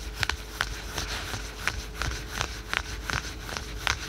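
Fingertips and short nails quickly scratch the printed fabric of patterned spandex/polyester yoga pants worn on the thigh. About eleven short, bright, raspy scratches stand out over a soft, constant fabric hiss and a faint steady low hum.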